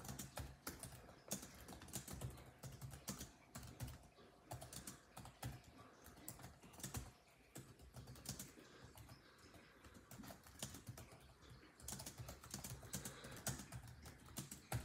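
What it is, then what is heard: Plastic laptop keyboard typing. Fingertips of both hands type rapidly on a built-in laptop keyboard with dark plastic chiclet keys set in a grey laptop body. A dense stream of quick key taps is heard, each a soft low thump with a bright click that dies away almost at once. There is a brief lull before a final burst of typing.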